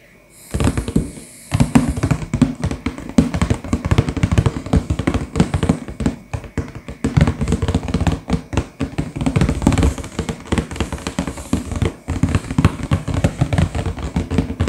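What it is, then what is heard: Cardboard box, tapped. Fingertips and short nails from both hands tap rapidly across the front face of a sealed, printed cardboard LEGO Star Wars box. The medium-sized hollow box lies flat on a table and is full of bagged pieces. After a brief quiet start, the taps run as a dense, continuous patter of dull, hollow knocks with a low, boxy resonance and very short ring.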